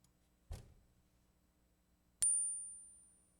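A 2020 copper-nickel clad quarter is ping-tested in a quiet room: a dull low thud is followed by a sharp ping with a thin, high ring that fades over about a second. The coin is judged not silver.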